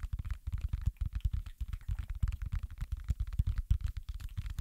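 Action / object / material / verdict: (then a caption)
tap / silicone pop-it fidget toy / silicone / none. Fingertips press and pop the hollow bubble domes of a round, flat, space-themed pop-it fidget toy made of soft silicone, tapping its surface while both hands hold it. A rapid, uneven string of soft, dull, low thuds follows, each stopping almost instantly with no ring.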